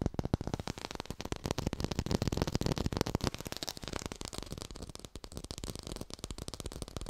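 Fingers tap quickly on an artificial orange with a textured surface, recorded in high fidelity. The result is a dense, continuous stream of short, dry taps with little ring, mostly low thumps mixed with lighter, brighter clicks, holding a steady pace throughout.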